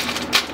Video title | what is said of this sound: HOW TOO - CLASIC ROASTED PUMPKIN SEEDS | you can just hear that they're tapping on there that's how you can tell if they're done